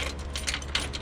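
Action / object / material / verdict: shake / metal spring / steel / steel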